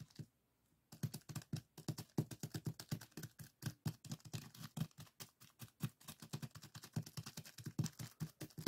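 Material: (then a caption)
Sand. Fingertips of both hands repeatedly press and scratch through a small clear plastic zip-lock bag full of purple sand granules lying flat on a table. After a near-silent first second, a quick, steady run of short, dry taps and crunches follows, each with a soft low thump and a bright, gritty crackle.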